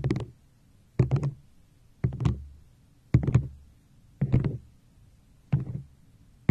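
A tall, hollow, apparently empty teal-green plastic cup with a yellow crescent-moon decoration on the front is held upright and tapped and scratched with long acrylic nails. Seven short bursts of quick clicky taps arrive about a second apart, each with a dull, hollow low thump under bright nail clicks. Each burst fades quickly into near silence.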